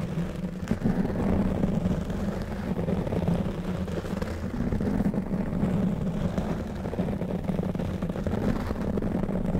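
A black foam windscreen on a silver condenser microphone is scratched and rubbed with fingertips and short nails of both hands. The result is a steady, dense, muffled rumble with a low hum near 190 Hz and little high content.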